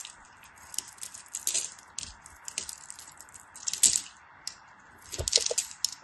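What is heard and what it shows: A solid translucent yellow glycerin soap bar, held in hands with white nails, is scraped and carved with a small craft blade as crumbly flakes break off. Quiet, bright, crisp scraping and crackling bursts come in short irregular clusters over a faint steady hiss, with almost no low end and no ring after each cut.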